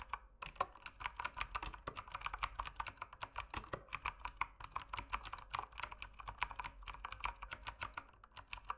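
Fingertips type steadily on the plastic keycaps of a mechanical keyboard in low light, producing a continuous run of short, sharp clacks. Each keystroke gives a quick click with a tone around 1 kHz and a bright edge that dies away almost at once. A faint low hum runs underneath throughout.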